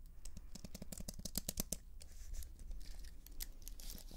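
A slim white keyboard with plastic keys on an aluminium frame is held upright while long nails tap and scratch rapidly across the keys. The first half is a quick run of sharp, clicky taps. It then gives way to a denser, softer scratching with bright, hissy edges and a steady low rumble underneath.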